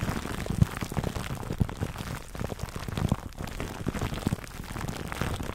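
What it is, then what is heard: Cling wrap scratched over a foam mic cover. Fingertips scratch clear plastic cling film wrapped over a black foam microphone windscreen. A dense, steady crackling rustle of short, dry clicks and pops is heard, weighted toward low, muffled tones with little brightness. The crinkling continues unbroken at a fairly even, soft level throughout.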